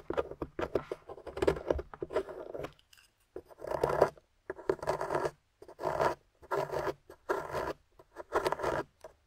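A small metal pick digs and scrapes crumbly plaster chunks out of the top of a solid gold-painted plaster bar held in the hand. Short bursts of dry, gritty scratching and crunching come with brief silent pauses between strokes. The sound is mostly midrange with a faint bright edge.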